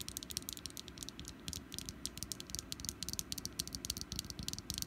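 Long nails tap quickly near the stem and along the sides of a small solid orange wax pumpkin candle. The result is a rapid, uneven run of dry, bright clicks with almost no ring, over a faint steady low rumble.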